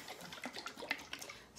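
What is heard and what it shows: A glass mason jar of homemade liquid Italian salad dressing is shaken, producing quick, bright sloshing splashes of liquid inside the jar. The sound is faint and high-pitched with almost no low end, and each slosh dies away almost at once.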